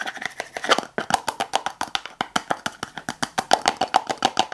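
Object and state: Plastic tub tapped with fingernails.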